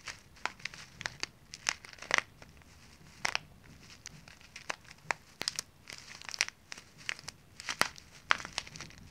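A small plastic zip-lock pouch full of dry water beads is held upright in both hands while fingers crinkle and squeeze it and long nails scratch its surface. The result is a quiet, steady stream of sharp, bright crinkles and crackles with scattered louder snaps. Each one stops almost instantly with no ring.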